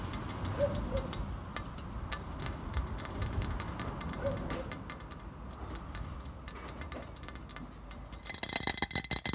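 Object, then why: Slotted square metal post. Fingertips and nails tap and flick rapidly along the slotted face of a hollow, square, green-painted metal upright standing against a speckled stone surface. The result is a dense run of short, bright, ticking clicks with very little ring over a steady low rumble. Near the end the taps grow faster and louder into a crisp, high clatter.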